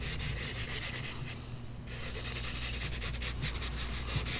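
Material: Paper.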